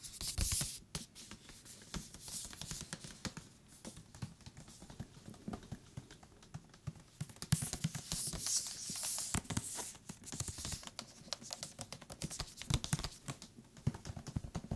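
Fingertips tap on the cover and along the top and bottom edges of a thick paper book, making quiet, rapid, dull patters with a soft low thump and brushy high crackle. The taps come in dense, uneven runs, and the top and bottom edges sound different even though they are the same thickness and material.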